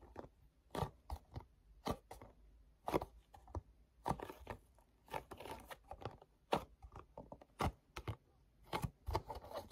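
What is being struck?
Small printed paperboard box.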